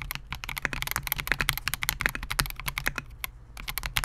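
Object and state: Mechanical keyboard with polycarbonate case and plastic keycaps.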